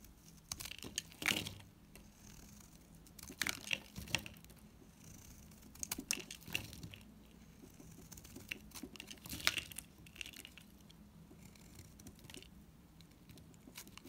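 A palm-sized solid pink NIVEA bar soap is held in one hand and shaved with a metal utility knife blade, as curled shavings pile up and crumble off. Soft, bright scraping and crinkly crumbling sounds come in uneven bursts over a quiet background.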